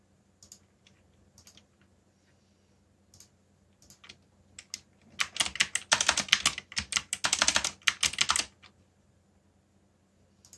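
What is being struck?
Plastic mechanical keyboard.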